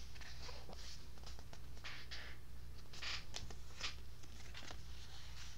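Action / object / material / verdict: scrape / paperback book, paper pages / paper / none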